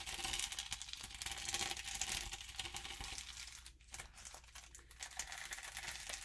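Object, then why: Adhesive sheet of small plastic rhinestones. Long nails and fingertips scratch and rub across a flat adhesive sheet of small plastic rhinestones set in rainbow rows, lying on paper, while a plastic gem box sits nearby untouched. The result is a quiet, dense stream of bright, crinkly scratching and tiny clicking taps, mostly high in tone. It eases briefly just before the four-second mark and then resumes.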